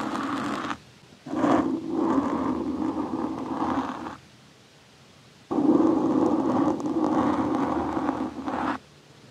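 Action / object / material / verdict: scrape / foam microphone windscreen scraped by a metal knife blade / foam / none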